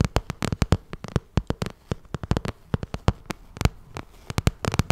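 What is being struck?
Vinyl cosmetic pouch tapped with fingernails.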